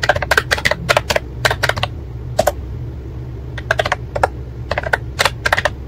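Fingertips type steadily on a white and pink plastic ACTTO wireless keyboard with round keycaps. Quick, crisp clicky key taps come in irregular bursts with short pauses, each tap dying away almost instantly. A low, steady hum sits underneath.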